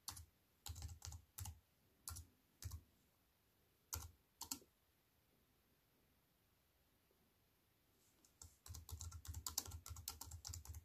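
Fingertips with long white nails type on a compact wireless keyboard with black plastic keys set in a thin silver aluminium frame, resting on a wooden table. Short bursts of sharp, bright key clicks with a soft low thump come in scattered clusters over the first few seconds, then stop for a quiet pause. After about eight seconds, faster, continuous typing runs to the end.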